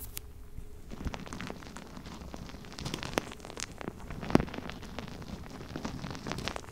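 A palm-sized purple rubber mesh stress ball, soft and filled with gel beads, is held beside the microphone and squeezed and rubbed with the fingertips and nails. It makes a steady, quiet stream of squishy rustling and dense little crackles and clicks, with bright snaps scattered throughout and one sharper pop near the end.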